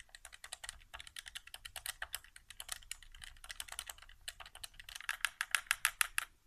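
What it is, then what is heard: Plastic game controller. Fingertips tap and press the right buttons and the thumbstick of a white hollow plastic PS4 controller resting on carpet. About forty quick, dry plastic clicks and taps come in an irregular rapid patter, bright and crisp with almost no ring. The last second or so grows louder and sharper.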